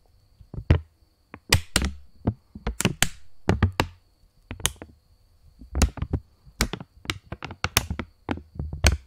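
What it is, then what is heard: Polymer plastic banknote. A £20 polymer plastic banknote is bent and flexed by the fingers close to the mic while fingertips tap and snap it. An irregular series of sharp, dry snaps and crackles, each with a deep thumpy low end and a bright edge, dies away almost instantly, with quieter rustling between them.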